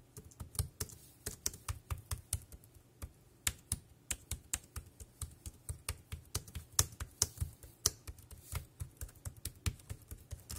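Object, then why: Plastic computer keyboard. A dark grey compact plastic wireless keyboard resting on a plastic sheet is typed on with the fingertips, tapping the keys. It makes a quick, unevenly paced stream of short clicky taps, each with a low thud and a bright snap that dies away almost at once.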